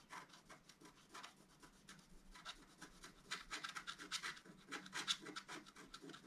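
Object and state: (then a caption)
Scratch-art paper sheet. The point of a wooden stylus scratches along the top edge of a flat, black-coated scratch-art card. It makes a quick, uneven series of short, dry scrapes, bright and hissy with almost no low end. The strokes grow slightly louder toward the end.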